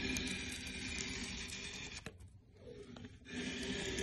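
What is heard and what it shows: A curved metal inshave repeatedly shaves the surface of a solid, pale, light softwood board held on a workbench, peeling away long curled shavings. A steady, bright rasping scrape runs through the strokes, drops quiet briefly in the middle, then resumes.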